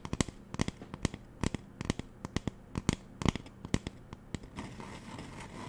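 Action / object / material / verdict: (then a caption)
tap / plastic spray bottle / plastic / none. Fingernails tap on the body of a hollow magenta plastic spray bottle, making an irregular run of short, dry, clicky knocks with a low body thump and a bright tick on top. In the final second the nails switch to scratching, giving a steady, rough, hissy rasp.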